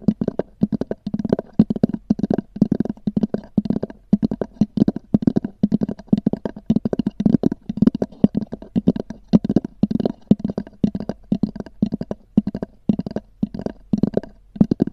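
Long nails rapidly tap and scratch across the textured cover of a small black oval hard-shell EVA zip case. The hollow shell gives each tap a dull, low knock with almost no ring, in quick, uneven bursts throughout.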